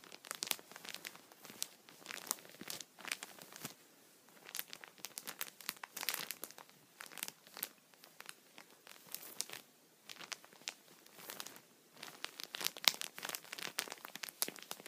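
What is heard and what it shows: A thin, clear plastic sheet protector lies flat while fingertips and nails from both hands scratch and rub across its surface. The result is bursts of bright, dry crinkling and scratching with almost no low end. Short pauses of near-silence fall between the bursts.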